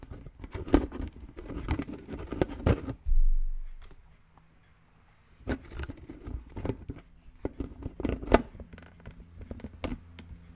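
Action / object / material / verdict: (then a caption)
tap / plastic toy brain-shaped lid / plastic / none. Fingertips of both hands tap and scratch a hollow green plastic brain-shaped lid resting on a red plastic skull container, making quick, dry, low hollow taps mixed with soft scraping patter. Around three seconds a short low rumbling swell rises and fades into a brief quiet pause, then the brisk tapping and scratching resumes until the end.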